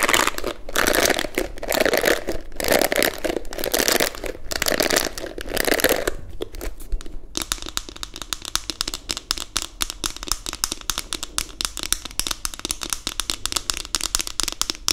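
Long nails scratch and strum the bristles of a pink plastic detangling hairbrush with a hollow plastic body, making dense, bright, crackling rasps for about six seconds. After a brief quieter pause, the nails switch to tapping the smooth back of the brush in a rapid, fast-decaying stream of light, hollow clicks.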